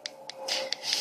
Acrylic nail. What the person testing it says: you hear that clicking noise